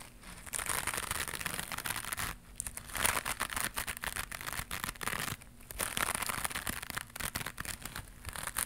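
A small white knitted mesh scrubber pad with a loop, held in both hands, is scratched with long pink nails. It makes dense, bright, crinkly scratching in rapid bursts, with two brief quieter pauses partway through.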